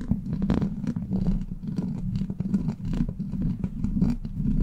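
Long black pointed plastic claw nails (witch fingers) scratch and tap across the rounded, hollow steel wire-mesh grille of a large silver USB microphone. A dense, continuous low-pitched scratching drone centered near 200 Hz is broken by short, quick taps with almost no high-end sparkle.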